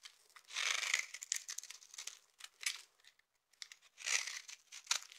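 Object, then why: Bar of soap. A knife with a yellow handle carves and scrapes the surface of a solid, palm-sized bar of dry purple soap held in the hand, shaving off flakes. The sound is a dry, bright crackle of rapid scratchy crunches in bursts, with a brief silent pause midway and nothing in the low end.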